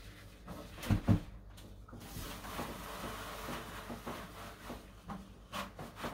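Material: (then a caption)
Particleboard. A grey cloth in a blue rubber-gloved hand wipes and rubs the empty, solid horizontal shelf of a white laminated particleboard shelving unit, while the other gloved hand steadies the shelf edge. Two sharp, low knocks sound near the start, followed by a steady soft rubbing and swishing with a few lighter bumps toward the end.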